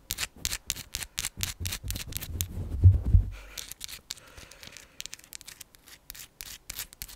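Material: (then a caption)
Quartz. Long pink acrylic nails scratch and tap a palm-sized chunk of raw, solid, pale pink rose quartz with a rough, faceted surface. Quick, irregular bright clicks and scratches repeat about three times a second. Between roughly 1.5 and 3.3 seconds, a louder low rumble swells and peaks in two strong thuds before the sound returns to lighter, sparser ticking.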